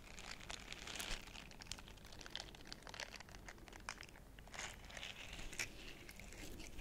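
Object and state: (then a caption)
Silicone face scrubber. A small purple heart-shaped silicone face scrubber with soft bristles is held in both hands while fingertips and nails scratch and rub its bristled surface. The result is quiet, bright, crinkly scratching in quick irregular bursts, with a few louder swipes over a faint low background hum.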